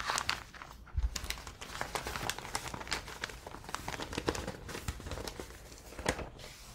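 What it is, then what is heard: Newspaper pages being handled. A large, thin, flat newsprint newspaper spread on a table is handled, smoothed and turned page by page with fingertips and long painted nails. The result is a steady stream of dense, crisp crinkling and rustling with bright, sharp paper crackles and a few soft low thumps against the table.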